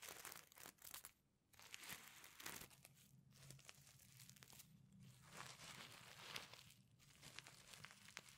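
Fingers rub and flip the reversible sequins covering a flat pencil case, making bright, crinkly, scratchy rustling in quick bursts. Brief quiet pauses break up the rustling, and a faint low hum sits underneath.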